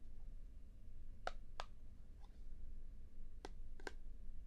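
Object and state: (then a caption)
Plastic puzzle cube. Fingertips tap and click on a small hollow plastic Star Wars-themed puzzle cube held in both hands right above a binaural microphone, possibly while turning its layers. Sharp, brief clicks stand out sparsely over a quiet, steady low rumble, each dying away almost at once.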